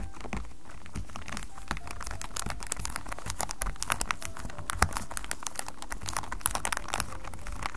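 Fingertips and short nails of both hands scratch and tap the sides of a small white cardboard Acqua di Giò perfume box, apparently still in its plastic wrap, standing upright on white paper with a recorder just behind it. A dense stream of crinkly scratches is broken by quick, sharp taps with very short decay over a steady low background.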